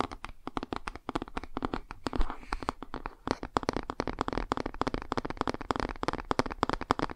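A laminated cardboard board book is held upright while fingernails tap and scratch across its glossy cover. A rapid, uneven stream of short, dry clicks and taps mixes with brief scratchy brushing, each with a dull low thud and almost no ring.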